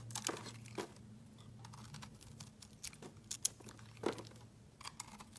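A utility knife blade carves and scrapes a hand-sized, solid white soap bar with a glitter-coated rim, and the shavings fall onto a mat. Short, bright, crisp scrapes and crinkly clicks come in an irregular series over a faint, steady low hum.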